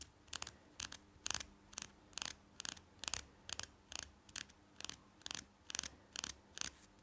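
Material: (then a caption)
Plastic. A small, solid green and white plastic toothbrush, held in both hands, has its handle scratched and tapped with fingernails. The result is a quiet, quick, steady series of short, dry, bright scratchy bursts, mostly high-pitched with almost no low end and no ring.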